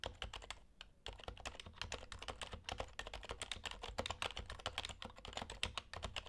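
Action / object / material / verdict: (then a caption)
tap / keyboard with plastic keycaps / plastic / none. Fingertips of both hands type steadily on an HHKB Hybrid Type-S Topre keyboard with plastic keycaps, producing a fast, dense stream of short, muted keystroke taps with bright edges. A faint low hum runs underneath, and the typing pauses briefly just before the one-second mark before continuing evenly to the end.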